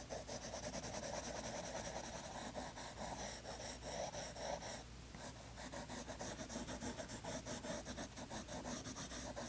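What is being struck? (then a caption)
Colored pencil on toned paper sketchbook page. A green colored pencil rubs and scratches across a page of toned tan sketchbook paper while the other hand rests on the page. Quick, dense, rasping strokes repeat steadily, with a bright papery hiss over a faint low hum. The strokes pause briefly near the middle before the scratching resumes.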